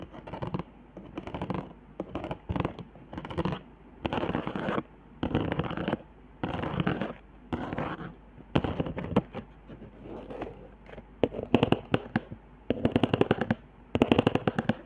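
Long nails scratch along the hot-glue ridges of a flat cardboard trigger board covered in glue zigzags, a wavy line and dots. Short bursts of dry, crackling scratching start and stop with brief pauses. Sharper, brighter ticking clicks grow denser toward the end.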